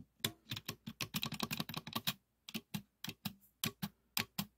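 The thin yellow painted steel blade of a small red plastic 2 m tape measure, pulled out on a wooden table, is tapped and pressed along its length with fingertips and nails. Nineteen quick, dry, clicky taps are heard, each bright with a short low thump underneath and almost no ring. They come in an irregular, fast run, then a pause, then a sparser series.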